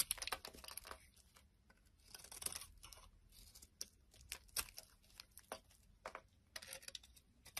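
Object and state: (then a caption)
Bar soap being cut and scraped. A metal blade cuts and scrapes chunks off a solid oval white bar of soap with a blue outer layer, held in the palm. Quiet, crisp, bright scraping and crunching bursts come in irregular clusters, separated by near-silent pauses.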